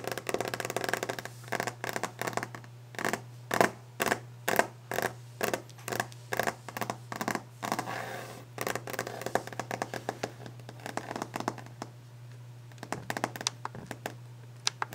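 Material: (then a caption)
Wood. Long orange-painted fingernails on both hands tap rapidly across a large, solid, glossy wooden desk top, giving sharp, bright clicks with short wooden knocks in a fast rhythm. The tapping then breaks into quicker, denser scratching and light scraping over the surface. A steady low hum runs underneath throughout.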